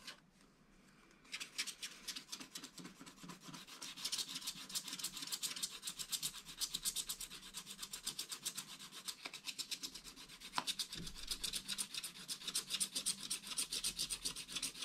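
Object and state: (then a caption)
Wax-coated scratch art paper being scraped. A wooden stylus scrapes the black coating off large background areas of a wax-coated scratch art page with back-and-forth rubbing strokes. After a brief near-silent start, a steady, rapid, dry scratching rasp runs at about four strokes per second. It is bright and hissy, with almost no low end.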